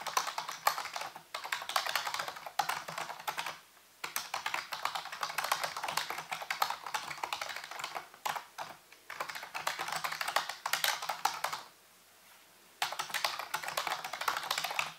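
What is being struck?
Plastic computer keyboard.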